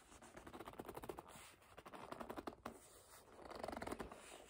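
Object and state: Leather bag being rubbed and squeezed.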